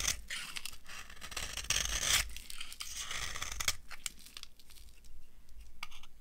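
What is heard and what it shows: A metal knife carves a solid, dry, old yellow soap bar, producing a run of crisp, crunchy scraping strokes with bright high-end texture. The denser shaving in the first half gives way to shorter, separate scrapes toward the end.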